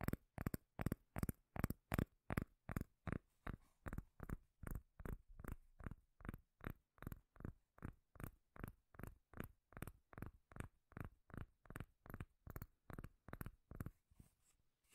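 Long nails tap and scratch the face and edge of a solid, round, palm-sized cork lid held close to the mic. About 41 short, dull, bass-heavy knocks come in a steady but uneven rhythm, each dying away almost instantly, with faint bright scratchy grit between them.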